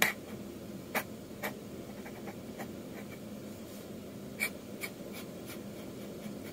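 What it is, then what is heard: Dip pen inking on manga manuscript paper. A metal dip-pen nib scratches long inking lines across a flat sheet of manga manuscript paper. About five short, bright scratching strokes stand out over a quiet, steady background.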